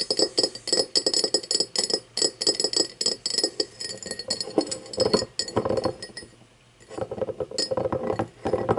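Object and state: Cut crystal glass tumbler.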